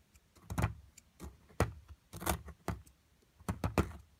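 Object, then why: Plaster excavation block and metal chisel. A metal chisel scrapes at a solid plaster block beside a purple crystal in an amethyst excavation kit. It makes a series of short, dry, gritty scraping strokes with a low, dull body and little ring, separated by brief pauses.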